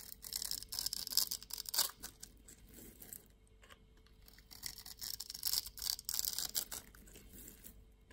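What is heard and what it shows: A utility knife blade scrapes small cubes off a solid orange soap bar scored in a grid and held in the hand. Bright, crisp scratching and crackling comes in two bursts with a quieter pause between them, and nearly all of the sound sits in the high range.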